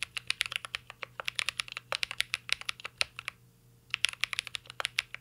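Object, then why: Mechanical keyboard with plastic keycaps and aluminum case. Both hands type with their fingertips on a full-size mint-green Cyberboard R3 mechanical keyboard with Holy Panda switches, plastic keycaps and an aluminum case, resting solidly on a desk. The result is a quick run of short, bright, crisp key clicks with almost no low end, broken by a brief pause before the typing resumes.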